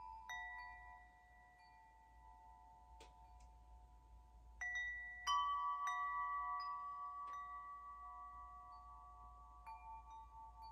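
Long hollow metal wind chime tubes, hanging from one hand, are swung so the striker hits them. A few separate strikes ring out as clear, sustained tones around 1.1 kHz with bright overtones. Each tone overlaps the last and decays slowly over a quiet, low background hum.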